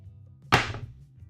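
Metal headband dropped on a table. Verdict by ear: Heavy.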